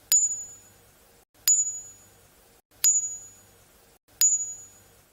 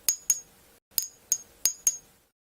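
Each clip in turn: First: ringing unfractured jadeite bangle. Second: dull-sounding polymer-impregnated (B) jadeite jade.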